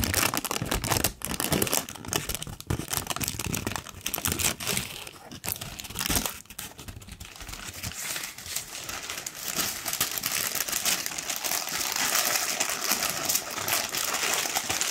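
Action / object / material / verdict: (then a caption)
scrape / thin tissue paper sheet / paper / none. A large, thin, wrinkled pink tissue paper sheet is held up and crumpled with both hands. It makes a dense, continuous crinkling and rustling that is mostly bright and high, with a brief quieter dip around six seconds. The crinkling then returns to a steady, airy crackle until the end.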